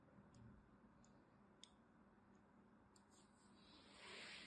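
A thin blade scores a grid into the surface of a solid purple and white striped bar of soap held in the hand. Faint, sharp, high ticks and soft scratches come over a steady low background hum, and a brighter, louder scraping hiss builds near the end.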